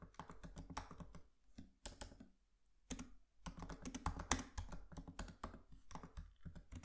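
Fingertips of both hands tap and type on the black plastic keys of a MacBook Pro laptop keyboard with an aluminium body. Quick, soft, uneven clicks with a low thump come in dense bursts, broken by a brief pause near the middle. Each keystroke is dry and dies away almost at once.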